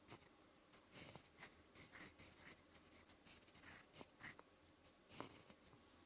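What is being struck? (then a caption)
Metal-nib fountain pen on lined paper. A fountain pen with a metal nib and blue ink scratches slow strokes onto a lined white paper notebook page. Quiet, bright, raspy scrapes come in short bursts separated by soft pauses, each stroke ending quickly with no ring.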